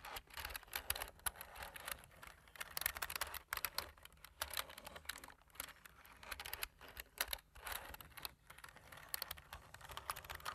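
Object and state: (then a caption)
Plastic computer keyboard being typed on. A black plastic computer keyboard is typed on with fingertips, with a large metal ring worn on one hand near the keys. Quick, bright, dry clicks and taps come in uneven bursts with brief pauses, at a soft overall level.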